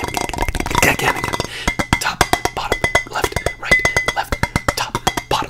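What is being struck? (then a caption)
Marble serving board. A round, white, marble-look charcuterie serving board, flat and solid with a white smear on its surface, is held up close and tapped with fingertips and nails. Rapid, dry clinks and clicks come in a dense flurry at first, then settle into a steadier run of separate taps. Each tap dies away almost instantly, with a bright edge and a faint high ring.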